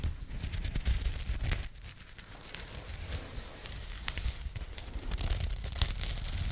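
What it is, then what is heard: Burlap pouch scratched with fingernails. Long nails scratch the rough woven surface of a small jute burlap bag with printed text, held close to the microphone. The result is a dry, crackly, rustling scrape with quick sharp bursts over a low, dull rumble.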